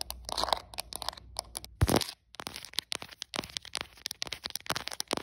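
Long acrylic nails rapidly tap and scratch the back and edges of a translucent hard plastic smartphone case with a printed flower design, while the phone itself records. Crisp, dry clicks and scraping crackles come in quick, irregular bursts, with a louder crunch near the two-second mark followed by a brief pause before the tapping resumes.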